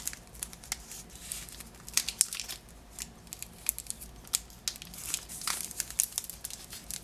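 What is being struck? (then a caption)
Cellophane wrapping on a small package. A lemon-shaped Positano package wrapped in green cellophane is turned in the hands while fingernails scratch and crinkle the wrap. Quiet, bright, crackly crinkles and scratches run throughout, with frequent sharp snaps and almost no low end.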